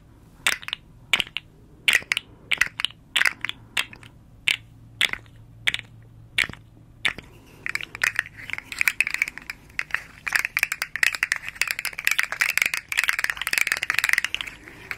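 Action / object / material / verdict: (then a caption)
scrape / segmented hard plastic slug toy / hard plastic / none. A small, hollow, rainbow-striped hard plastic slug fidget toy made of segments is scratched along its ridges with long nails and bent into a curve so the segments click. Sharp, dry, spaced clicks come first, then a dense run of rapid bright clicking and scratching centred near 2 kHz. Each click dies away almost at once, with no ring.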